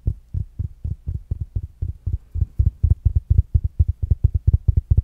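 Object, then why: Small fabric-covered smart speaker. A small, rounded black smart speaker with a fabric mesh cover is tapped with fingertips and nails, producing 26 short, dull, low thumps centered around 78 Hz. The taps have almost no ring or brightness, and they grow louder and come faster in the second half of the clip.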